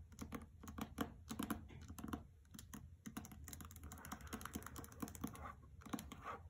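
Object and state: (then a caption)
Hardcover book with paper dust jacket. Long fingernails on both hands tap the paper dust jacket of a hardcover copy of *The Trespasser* resting on carpet. The result is a quiet, rapid flurry of crisp, dry clicks with a soft low thud beneath and almost no ring, the taps running irregularly throughout.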